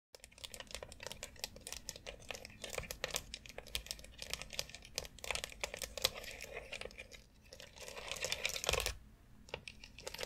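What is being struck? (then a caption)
Plastic foot massage board. Long acrylic nails tap and scratch across a white, hollow plastic foot massager board covered in rounded knobs with a central dome. The result is a dense run of quick, bright, dry clicks, with no ring after each tap. Rasping scratch passes swell between them, loudest around eight to nine seconds before a brief drop.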